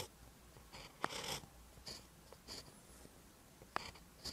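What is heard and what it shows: A ballpoint pen tip writes on a lined paper notebook page. Short scratching strokes come in bursts with soft bright hiss. Two sharp taps stand out against the quiet background.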